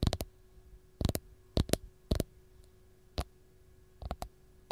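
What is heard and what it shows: Long gold nails tap the peel of a single whole raw fresh lemon in quick, irregular bursts of short, dry clicks. Each tap is brief, with a soft, low-weighted body and almost no ring, over a faint steady background hum.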